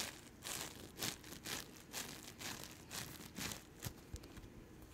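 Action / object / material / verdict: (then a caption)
scrape / floam bead slime / slime with foam beads / none. Yellow-green floam bead slime is stretched and pulled between both hands with long nails. It makes a run of sticky, crackling tearing bursts, bright and crisp with little low end, rising and falling in quick irregular pulses.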